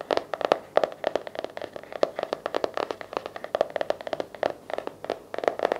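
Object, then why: Cardboard hardcover journal. Fingertips and nails tap and scratch the cover and edges of a blue patterned, cardboard-covered hardcover paper journal resting on a lap. A rapid, uneven run of dry, hollow taps centers around 590 Hz, with brief bright clicks and scratchy sounds between them. Each tap dies away almost instantly.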